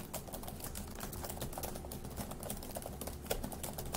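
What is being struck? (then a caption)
Plastic laptop keyboard. Fingertips of both hands type fast on the plastic keys of a dark grey laptop keyboard. A steady stream of quick, short clicks and soft low thuds runs throughout, with one sharper, louder keystroke near the end.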